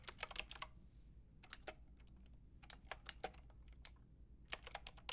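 A Lofree mechanical keyboard with a translucent white plastic frame and round pink and grey plastic keycaps, lying on a fluffy rug, is tapped by fingertips with long red acrylic nails. It makes bright, crisp plastic clicks in quick clusters with short pauses, each dying away almost instantly over a faint, steady low hum.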